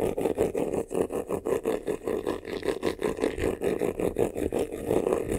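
Fingernails scratch fast on the lower front of a medium black croc-embossed faux-leather vanity case, a hollow box with a textured surface. Quick, uneven strokes follow one another in a steady run of dry, raspy scrapes centred in the midrange, each stopping short with almost no ring.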